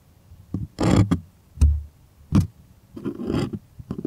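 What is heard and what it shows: Fingernails scratch and tap the taut surface of a white, stretched, primed cotton artist canvas held close. Short, dull, low thumps alternate with brief papery scraping bursts. The bursts are separated by quiet gaps and die away almost at once.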